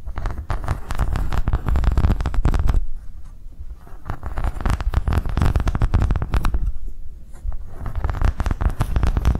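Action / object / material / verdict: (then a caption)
scrape / ridged silicone coaster / silicone / none. A thin, flexible green silicone coaster with ridges, held on edge, is scratched and tapped with long nails. Dense, rapid soft taps and scratches with a deep, muffled body form continuous bursts that ease briefly around three and seven seconds before picking back up.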